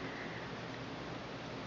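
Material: Nothing is struck.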